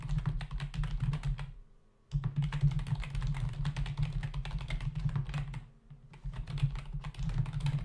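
Rapid typing with the fingertips of both hands on a black plastic membrane desktop keyboard with hollow key caps, giving a dense stream of light, hollow clicks and taps over a low hum. The typing pauses briefly around two seconds and again near six seconds before resuming at the same quick pace.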